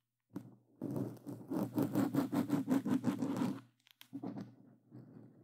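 A black foam microphone windscreen is scratched rapidly by hands wearing claw gloves. A quick run of dry, rasping scratches pulses at an even pace, with a steady low hum beneath. A few softer scrapes follow after a brief pause.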